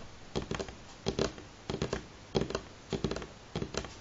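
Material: Wood.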